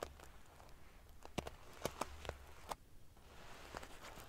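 Fingernails flick and scratch the rows of silver metal pieces covering a large padded metal-sequin fabric pillow. Short, sharp metallic ticks and crackly scratches rise from a quiet background with a faint low hum. The clicks die away almost instantly, leaving no ring.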